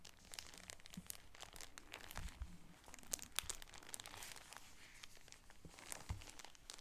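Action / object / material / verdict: scrape / shower curtain in plastic packaging / plastic film / none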